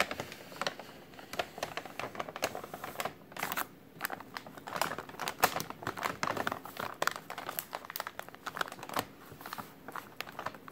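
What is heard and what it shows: A white translucent plastic takeout bag printed with a menu is crumpled with the fingers from below. It makes a steady stream of dense, crackly crinkling with sharp, bright snaps and almost no low end. The pops die away instantly, leaving only short gaps between bursts.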